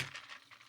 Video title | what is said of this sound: For your holiday table: A dreamy cocktail from Comfort Kitchen | Once you hear that pop, there you go.